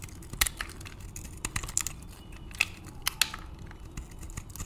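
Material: Soap.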